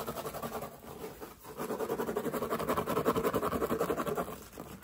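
Fingertips and nails rapidly scratch and rub the woven straw of a large wide-brim straw hat with navy trim, worn on the head. A dry, rhythmic rustling scratch sits mostly in the midrange, with little low or high content. It dips briefly just past one second, then grows louder and steadier in quick repeated strokes.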